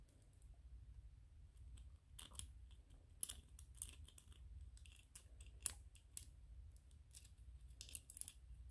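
A small white solid PLA plastic 3D-printed ghost toy is scratched and tapped with nails and fingertips. Quiet, sharp clicks and dry scratching bursts with a bright edge sit over a low, steady hum.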